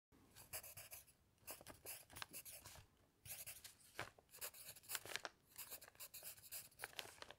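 A graphite pencil held in the fingers scratches across a stack of lined paper sheets on a notepad lying flat on a cloth-covered table, while the other hand rests still on an open dictionary. Quick, bright, scratchy strokes come in bursts of writing, separated by brief quiet pauses.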